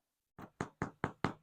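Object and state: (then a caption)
Baked-through bread loaf (hollow). Five dull, hollow knocks on the bottom of a freshly baked pumpernickel loaf, each short with a low thud and little ring. The hollow sound shows the loaf is baked through.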